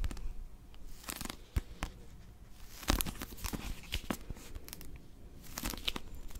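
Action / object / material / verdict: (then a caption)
scrape / paper pocket dictionary / paper / none. A small blue Oxford paper pocket dictionary is held in both hands while long nails grip and scratch its cover. The result is a close, dry texture of crinkling, scraping and tearing-like rustles, broken by sharp clicky taps and brief bright scratches.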